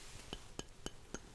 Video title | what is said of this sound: ASMR 5 New Trigger Tries For Your Relaxation (Stereo/Panning) | it is a glass container encased in leather